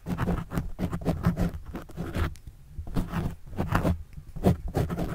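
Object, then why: Foam microphone windscreen scratched with a plastic pen tip. A plastic pen tip writes and scratches across a black foam windscreen on a microphone. It makes a run of quick, muffled scratching strokes, heavy in low thumping rumble with little brightness. Busy bursts come and go, with a brief quieter stretch midway.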